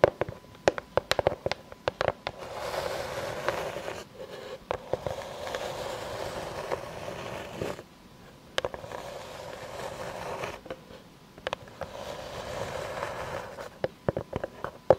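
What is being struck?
Round slice of natural wood tapped with long nails.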